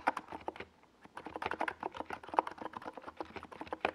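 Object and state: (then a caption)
Mechanical keyboard with tall plastic keycaps. A NiZ Plum Atom 68 compact 68-key keyboard, with a white plastic case and tall purple and yellow Domikey Gas Attack SA plastic keycaps, rests on a desk pad as the fingertips of both hands type on it. About two dozen quick, hollow clacks centered near 940 Hz come in an uneven stream. Each clack stops almost at once, with a brief pause around the one-second mark before the typing picks back up.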